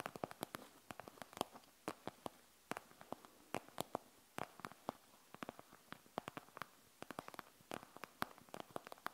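Long nails scratch and tap on a panda gel bead eye mask with a plastic shell and gel beads. The sound is a quick series of short, dry, clicky taps with brief scratches between them, mostly mid-range with a bright edge. The clicks are quiet, die away almost instantly, and are scattered unevenly across the clip.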